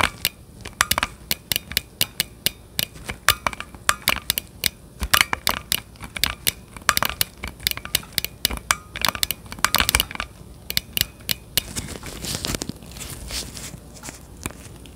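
Gloved fingertips tap and click a hollow plastic Nintendo Switch Joy-Con controller grip, handheld size, held just behind the microphone. Dozens of short, sharp, bright clicks come in uneven bursts over a faint hiss, each dying away almost instantly. Near the end, a softer, denser rustling takes over before the clicks return.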